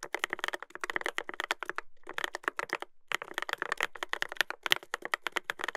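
Fingertips type continuously on a Dolphin 2021 mechanical keyboard with a brass plate and plastic keycaps. Each key gives a short, dry, bright clack centered around 1.9 kHz, with almost no low end and no ring. The rapid run of strokes breaks into brief pauses near 2 and 3 seconds.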